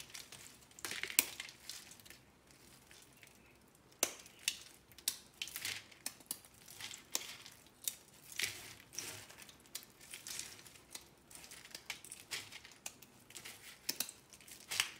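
Fingertips with painted nails crush, rub and scratch through a loose pile of small, brittle, dried soap-curl fragments in pink, red, white and lilac on an orange surface. The sound is a dry, bright crunching and crackling with almost no low end, made of short, sharp bursts that die away instantly. After a quiet pause early on, the crunches return in a steady, uneven stream.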